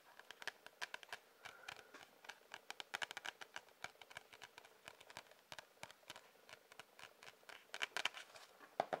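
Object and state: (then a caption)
Cardboard sketchbook. A sketchbook with a cardboard cover is tapped with quick, irregular taps. Each tap is a short, dry click with no low end and a bright edge, heard over a quiet hiss.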